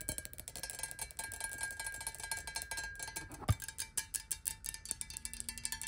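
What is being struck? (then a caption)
Glass bottle partly filled with water. Long nails tap fast on the sides of a square clear glass bottle partly filled with water, first close up and then with the bottle upright. A dense run of bright, clicky taps leads into a single louder knock, then sparser, more distinct taps follow with a faint, short ring.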